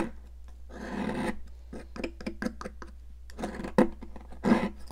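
A metal palette knife scrapes a solid pink, popsicle-shaped stick of sidewalk chalk held in a hand with long nails. Drawn-out gritty rasps alternate with a run of short, sharp scratches, and a few louder crunchy scrapes stand out near the end.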